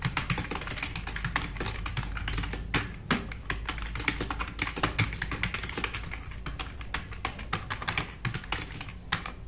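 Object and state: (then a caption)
Plastic mechanical keyboard. Both hands type fast with their fingertips on a compact RGB-backlit mechanical keyboard with black plastic keycaps, resting on a wooden desk. The result is a dense, steady stream of short, sharp plastic clacks with bright click edges over a low, thumpy body, each keystroke dying away almost instantly.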